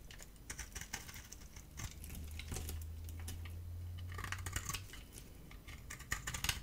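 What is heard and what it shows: A hand-sized bar of dry soap with a green coated shell and white core is held in the palm and shaved and scraped with a metal utility-knife blade, sending flakes off. Quick, dry, crackly scraping ticks come in an irregular, rapid run, with a low steady hum underneath through the middle of the clip.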